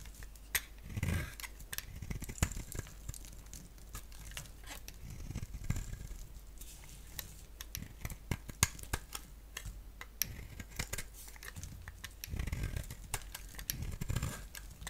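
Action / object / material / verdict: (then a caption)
scrape / soap bar scraped with a blade / soap / none. A palm-sized solid rectangular bar of soap, black on the outside and orange inside, is scraped and shaved with a box-cutter blade. Many short, crisp scraping clicks and light crackles repeat throughout, with a few soft low thuds.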